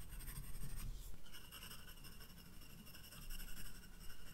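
A graphite pencil sketches flower details on a white paper page of a spiral-bound sketchbook. Soft, continuous scratchy strokes with faint bright hiss sit over a quiet low rumble, swelling slightly in a few places.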